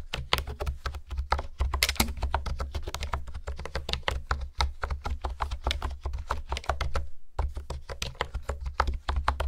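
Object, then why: Plastic computer keyboard. Fingertips type rapidly on a pink plastic honeycomb keyboard with hexagonal keys, producing a steady stream of short, crisp clicks and taps that stop almost instantly. A brief pause comes near the seven-second mark before typing resumes. A constant low hum sits underneath.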